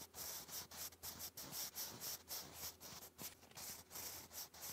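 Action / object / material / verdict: scrape / graphite pencil on thick lined paper card / paper / none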